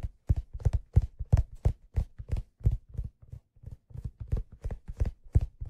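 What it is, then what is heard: Leather fedora hat tapped with fingertips. Fingertips tap the smooth leather crown of a hollow, empty black leather fedora held in one hand. The quick, unevenly paced taps come out as soft, dull, low thumps that stop almost at once, with no bright edge.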